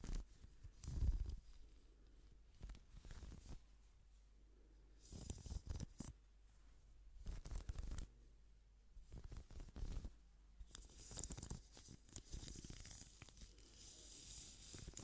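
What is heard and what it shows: Gloved fingers scratch and rub the bristles and plastic body of a pink plastic hairbrush held close to the microphone. The result is soft, irregular bursts of scratchy rustling with a heavy low rumble and occasional bright hiss, pausing between quieter stretches.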